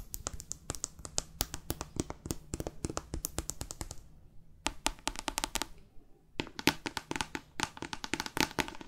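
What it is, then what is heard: Paperback book tapped with long nails. Long fake nails rapidly tap and scratch the glossy card cover of a thick, solid paperback novel. The sharp, bright clicks come in quick bursts with brief pauses, mixed with soft scratchy strokes across the cover.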